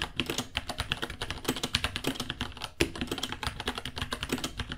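Both hands type with their fingertips on a small white 66-key mechanical keyboard with Gateron Brown switches, white plastic keycaps, a hollow case and pink underglow, resting on a white desk ($60). About 33 rapid, dry key taps sound out, each a short bright clack over a hollow low thock that dies away almost instantly. One tap lands noticeably harder near the middle.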